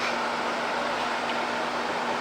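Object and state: Nothing is struck.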